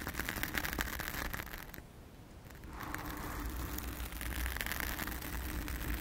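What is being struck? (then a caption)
Foam microphone windscreen. Long acrylic nails on both hands scratch and rub a round, soft, porous blue foam windscreen covering a microphone. The result is a dense, crackly rustle with a low muffled rumble beneath bright scratchy detail. The scratching eases into a quieter pause partway through, then returns at full strength.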